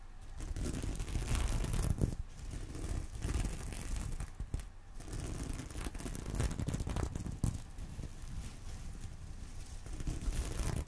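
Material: Sequins, fabric.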